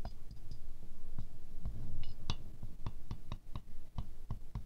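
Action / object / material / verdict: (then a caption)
tap / glazed ceramic rose figurine / ceramic / none. A wooden stick taps quickly down into the centre petals of a small silver-glazed ceramic rose ornament. The taps are short, sharp clicks with brief bright ticks over a steady low rumble, and they become more spaced out and distinct toward the end.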